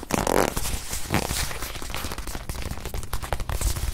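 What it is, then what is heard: Leather watch pillow. Long nails tap quickly on a small white leather watch pillow held in both hands, the hands moving fast. The result is a dense run of soft, dull, low-heavy taps with brief brighter clicks and light rustling between them.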